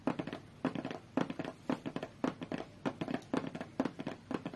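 Long fingernails tap rapidly on a closed, hollow, medium-size white cardboard tablet box. The result is quick bursts of dry, clicky taps with a hollow low-mid tone around 270 Hz and almost no ring. The taps come in uneven clusters with brief pauses between them.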